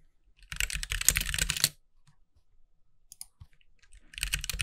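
Fingertips of both hands type on a compact backlit mechanical keyboard with white plastic keycaps resting on a desk. A dense burst of rapid, bright, clacky keystrokes is followed by a quiet pause with a few scattered taps, then the fast typing resumes. Each key click is short and crisp, with almost no ring.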